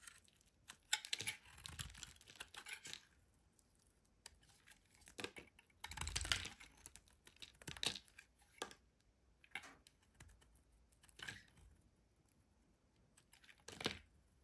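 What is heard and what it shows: A solid green rectangular bar of soap, held in the hand, is shaved with a metal utility knife blade, sending green curls falling away. Quiet, bright, crisp scraping strokes come in short bursts separated by near-silent pauses.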